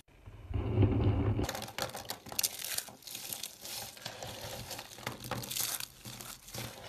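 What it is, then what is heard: Dried soap tubes crushed. Hands with long dark nails press and crush small hollow dried-soap tubes in pink, purple, blue and cream on a dark surface, breaking them into flakes. A low, muffled pressing thump opens the clip, then gives way to a steady, bright, crunchy crackling and crumbling that continues to the end.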